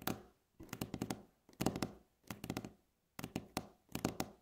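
Long natural nails tap, scratch and rub across a solid, light wooden tabletop. Quick clusters of dull, woody taps arrive in short bursts separated by brief silences, with a faint scratchy rustle underneath. Each tap dies away almost at once.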